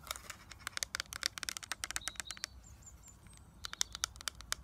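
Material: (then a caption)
Plastic. Long nails tap on a small plastic eyeshadow palette, first on its clear plastic lid and gold frame, then on the gold plastic back with its label. The result is quick runs of sharp, bright clicks with almost no ring. A short quiet stretch in the middle carries a few faint, high chirping tones before the tapping picks up again.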